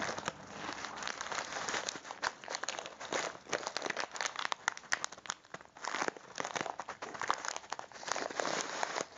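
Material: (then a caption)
Plastic. A full plastic bag of popcorn kernels is held in both hands while fingertips squeeze, rub and scratch the plastic. The result is a continuous, dense crinkling and crackling with many quick, sharp crunches and a bright hiss, and almost no low end.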